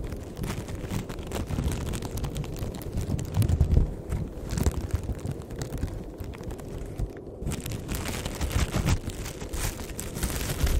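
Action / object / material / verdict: scrape / thin plastic bag / plastic / none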